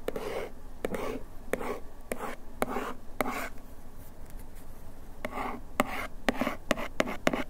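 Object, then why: Paperboard box scratched with a bamboo ear pick. A bamboo ear pick held in one hand scratches over the printed text on the back of a small paperboard bandage box held in the other hand. Repeated short, dry scratching strokes, each ending in a crisp tick, sound against a quiet background. The strokes carry a papery midrange rasp and a faint bright edge.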